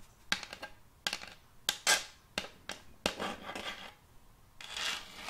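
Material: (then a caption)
Wood. Metal fingertip claws scratch and scrape across the face of a large, solid round board of checkered end-grain wood, held tilted. Sharp, bright scraping strokes come in short bursts with quick decays, some dragging into brief raspy trails. A softer, longer scrape closes the clip.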